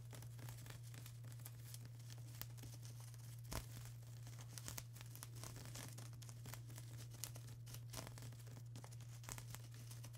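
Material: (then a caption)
Plastic. Long acrylic nails scratch and tap across a flat sheet of plastic bubble wrap, making soft, bright crinkling and crackling with scattered sharper clicks. A steady low hum runs underneath throughout the quiet clip.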